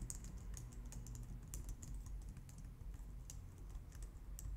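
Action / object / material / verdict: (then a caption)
tap / plastic computer keyboard / plastic / none. Long nails type on a white low-profile plastic computer keyboard up close, producing a quick, continuous stream of light, bright clicks and taps. The quiet clicks sit over a steady low hum that carries most of the sound's energy.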